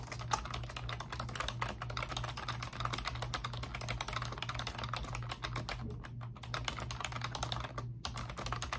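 Both hands with long pink nails type rapidly on a pink plastic computer keyboard with round backlit typewriter-style keycaps. A dense, steady stream of short, crisp clicks and taps rings off almost instantly over a constant low hum, with brief pauses near six and eight seconds.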